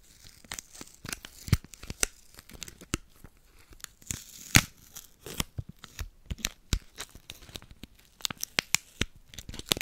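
A small crumpled piece of silver aluminium foil candy wrapper is pinched between the fingertips of both hands and crinkled and rubbed close to the microphone. It makes a dense run of sharp, bright crackles and crinkling snaps over soft rustling, with a few louder pops standing out.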